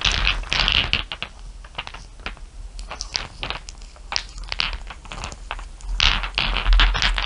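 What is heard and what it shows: Long nails tap and scratch over a pile of small, solid, dark glass marbles resting on fur. Quick, bright clicks come in an uneven patter over a steady low hum, with louder bursts of scratchy hiss at the start and again near the end.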